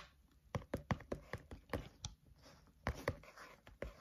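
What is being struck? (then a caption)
Paper notebook with card cover. Fingertips of both hands tap rhythmically on the cover of a flat spiral notebook with a green cover. About fifteen short, dull taps sound with a low thump and almost no ring, spaced in an uneven rhythm with faint scratchy rustle between them.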